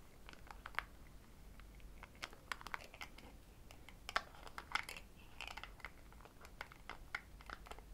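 Long red acrylic nails tap quickly and repeatedly on the white plastic screw lid of a small, palm-sized cosmetic jar that is held in one hand and appears full of a yellow product. The taps are quiet, dry, clicky ticks centered around 1.3 kHz with bright edges, dying away almost instantly. They come in uneven bursts over a faint low background hiss.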